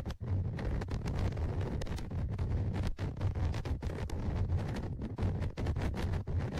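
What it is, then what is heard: Recorder microphone grille scratched with tweezers. Tweezers scratch along the left side of the metal-mesh microphone grille on the plastic body of a Tascam DR-100mkIII recorder. The result is a dense, continuous low rumbly contact noise centered around 100 Hz, broken by brief crackly scrapes that reach up into the high range.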